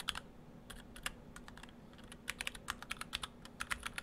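Fingertips of both hands type on an Orthodox Rev3.1 split ortholinear mechanical keyboard, built in two halves with clear acrylic cases, white and cyan PBT dye-sub keycaps and stock Gateron Brown switches. The result is a steady run of short, bright, clacky keystrokes that die away almost instantly over a faint low hum.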